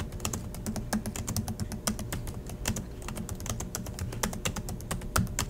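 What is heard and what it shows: Both hands type steadily with fingertips on the black plastic chiclet keys of a silver Acer laptop resting on a desk. The result is a fast, continuous run of crisp clicks with bright tops and a low thump under each key press, with no speech.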